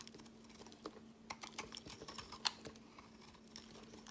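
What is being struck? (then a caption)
Soap bar scraped with a knife blade. A utility knife blade scrapes and carves flakes off a solid, palm-sized teal speckled bar of soap held in the hand. The result is a quiet series of crisp, bright scratches and short ticks, with one sharper snap near the middle. A faint steady low hum runs underneath.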